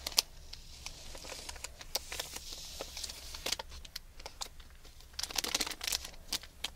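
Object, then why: Foil-wrapped package. A hand-sized package wrapped in crinkled aluminium foil is held in both hands while long red-painted nails scratch and squeeze the foil. Bright, dry crinkling and crackling come in quick bursts of sharp scratches over a faint low hum, with denser clusters near the start and end.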